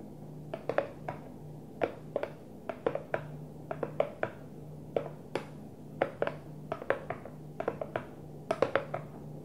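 A Tupperware plastic food container is gently tapped in a steady, irregular series of light, dull taps over a quiet background hum. Each tap is a short, hollow knock centered around 550 Hz with almost no ring.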